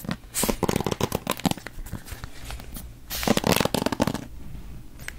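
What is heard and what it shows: Fingertips and nails scratch and flick across the dense pin bristles of a hand-sized wooden paddle hairbrush with a wooden handle, held close to the mic. Two bursts of crisp, bright crackling and rapid ticking are separated by a quieter stretch of softer scratching, with a low rumble underneath. Each flick cuts off almost instantly with no ring.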